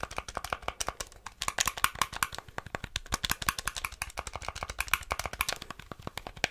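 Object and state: Plastic game controller buttons.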